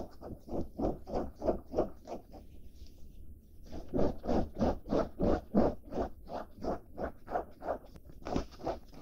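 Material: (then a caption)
Denim. Long black-painted nails scratch back and forth across blue denim jeans with a red label and a stitched pocket. The result is a steady, rhythmic series of soft, rough fabric scrapes at about three strokes per second, with a short quieter gap partway through.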